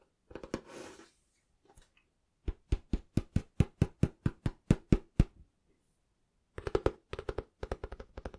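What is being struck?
Cloth-covered hardback book.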